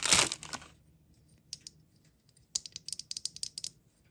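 A small solid plastic figure with a hard yellow box-shaped head is held in the hand and tapped and clicked with long painted nails. A brief loud, broad rustling burst is followed by a pause, two light taps, and then a quick run of sharp, bright clicks that die away almost at once.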